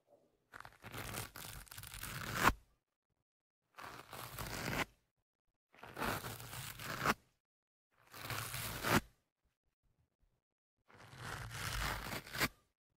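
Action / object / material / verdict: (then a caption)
scrape / foam microphone windscreen scratched with a thin metal tool / foam / none. A thin metal ear-pick tool held in the fingertips scratches and pokes the soft, porous surface of a black foam windscreen on the left of two studio microphones. Five separate bursts of close, crackly scratching and rasping are heard, each ending with a sharper poke and separated by short silences.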